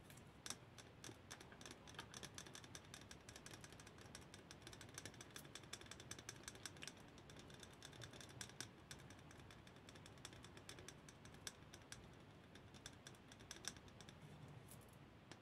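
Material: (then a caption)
Lacquered wood. A small, empty, hollow Khokhloma-painted wooden goblet, lacquered gold inside, is tapped with long nails and fingertips on its rim and outside. The result is a steady, quiet stream of rapid, short, dry clicks. The taps have a bright, crisp top and almost no ring.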